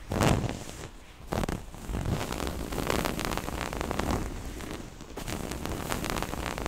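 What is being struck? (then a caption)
Small cloth pouch with zipper. Long nails scratch a small, soft, hollow floral-print cloth pouch and run along its black zipper edge, making a dense, continuous raspy scratching with a heavy low thump from the hollow pouch. Louder bursts come near the start and again around 1.4 seconds, and a brief quieter dip near 5 seconds is followed by steady scratching to the end.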